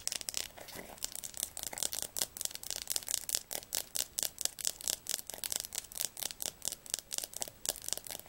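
Long fingernails tap quickly on the laminated cover and spine of a Diercke Weltatlas, a large, solid, closed hardcover atlas held upright in the hands. The sound is a dense run of short, crisp, bright clicks with almost no low end and barely any ring. The taps come in uneven rhythmic bursts that gradually grow louder and more evenly spaced.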